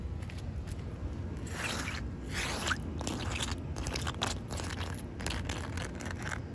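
Long white nails scratch and tap a large, solid, wet concrete slab at the edge of a wet patch. The result is a steady run of gritty scraping strokes and short, crisp taps, with bright, crunchy bursts over a low, soft background.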